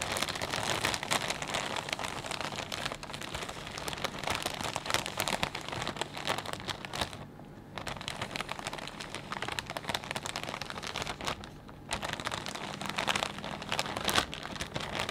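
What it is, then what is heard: Plastic bag of potato chips being crinkled. Fingertips squeeze and crinkle a clear plastic bag full of potato chips, making a dense, continuous, bright crackling rustle for about 15 seconds. The crinkling briefly softens at around 7.5 and 12 seconds before picking up again.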